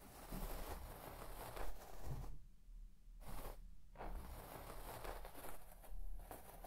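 A white plastic comb is swept quickly back and forth across the pile of a large red shaggy textile carpet, scratching the fibres. The result is soft, continuous bristly scratching and rustling with a low rumble underneath, and two brief quiet pauses in the middle.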